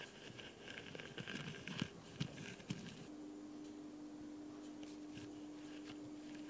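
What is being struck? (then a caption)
Foam nail buffer block. Fingertips and long nails scratch and tap the abrasive sides of a solid, white, rectangular foam nail buffer block held upright in one hand. The first three seconds bring dense, gritty rasping broken by a few sharp taps. After that, softer scratching continues over a steady low hum.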